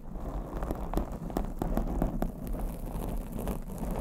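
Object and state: Foam microphone windscreen tapped and scratched.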